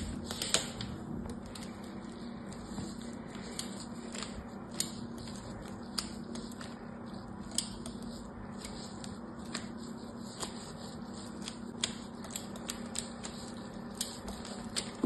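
Fingertips with medium-length yellow-painted nails touch and scratch along a solid pink, palm-sized bar of soap with a crosshatch pattern carved into its surface, lying on a zigzag cloth with other soap bars nearby. A quiet, steady scratchy rasp with a low hum underneath is broken by frequent sharp, bright clicks and ticks as the nails catch on the carved grooves.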